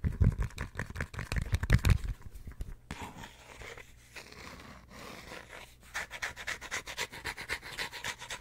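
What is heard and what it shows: Fingertips and nails rub and scratch a smartphone in a clear plastic case with a white plastic pop grip on the back. Loud, bassy, rapid scratching fills the first two seconds, then softens into a quieter, steady rubbing. A run of quick, rhythmic, bright scratching strokes returns toward the end.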